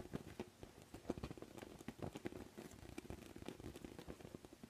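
A large orange-and-white inflatable beach ball of thin PVC vinyl, hollow and air-filled, is tapped and scratched with fingertips. Quiet, dull thumps with a low hollow resonance mix with soft scratching and patter-like rustles, each tap dying away almost instantly.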